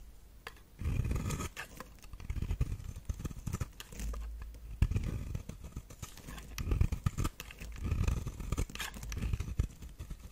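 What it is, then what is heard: Dry bar soap being scraped. A solid, dry pink bar soap shaped like a flower and stamped "Radiant Rose" is held in the hand while a metal blade scrapes flakes off its surface. The result is a run of rough, low scratching strokes that rise and fall in bursts, with short dry crackles throughout.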